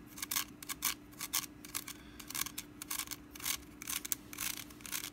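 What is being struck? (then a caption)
Small woven wicker basket. Long nails scratch along the ribbed woven side strands of a small, hollow, orange woven wicker pumpkin held sideways in the hand. The result is a quick, irregular run of dry, crisp, high-pitched rasping strokes over a faint steady low hum.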